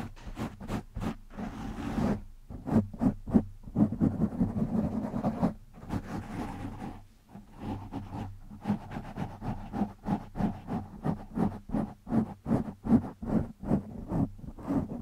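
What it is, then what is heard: Foam microphone windscreen being scratched. Fingertips of both hands scratch a black foam windscreen on a microphone. It makes quick, rhythmic bursts of rough, muffled scratching with a low, boomy body, blurring into a dense continuous rub in the middle. After a brief lull the scratching resumes as fast separate strokes.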